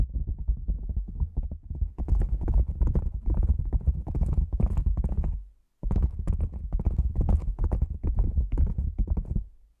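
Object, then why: Padded nylon lens pouch. A black, hand-sized, cylindrical padded nylon lens pouch, hollow and standing upright, is tapped on its top and sides with long manicured nails and fingertips. The result is a rapid, continuous run of soft, deep, muffled thumps with faint bright clicks of nail on fabric. A brief pause falls just before the six-second mark, then the tapping resumes.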